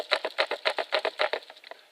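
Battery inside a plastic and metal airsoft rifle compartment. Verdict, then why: Loose. An airsoft rifle with its battery installed in the plastic/metal battery compartment is shaken, and the loose battery rattles in eleven quick, bright, dry clicks with no low end. This disproves a seller's claim that the battery doesn't rattle; wrapping the battery in cloth would quiet it.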